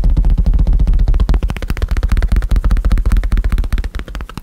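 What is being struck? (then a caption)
Leather bifold wallet. A small black leather bifold wallet is held close to the mic and tapped and scratched with fingertips and nails on its outer surface and edges. The result is a rapid, uneven run of short, dull, muffled thumps, deep and boomy with almost no ring or bright edge.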